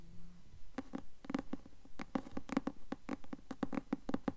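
Long fingernails tap and scratch the front cover of a blue cloth hardcover book with a gold bird design, held upright in the hands. About 20 quick, dull, low taps land in an uneven rhythm, each dying away at once with no ring, mixed with faint scratching.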